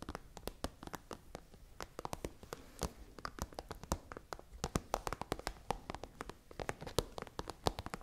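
Long nails and fingertips tap and scratch a tall, hollow, iridescent holographic plastic pencil case. The result is a quiet, rapid stream of short, dry clicks with no ring, spread across the spectrum with bright edges and a slight scratchy rustle between the taps.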